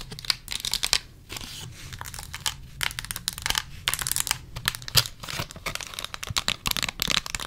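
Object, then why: Clear plastic box holding lip gloss tubes. Long acrylic nails tap and scratch a small clear plastic gift box holding several lip gloss tubes, some hollow and some filled with product. The result is a dense run of quick, bright plastic clicks and crinkly scratching, each tap dying out almost at once.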